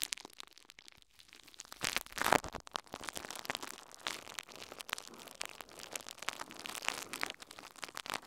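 A thin, clear plastic bubble wrap sheet draped over a recorder is crinkled and crumpled with the fingertips of both hands. Dense, dry crackles and crinkles run throughout, bright and thin with almost no low end, peaking in a louder burst near the two-second mark. Each crackle stops instantly with no ring.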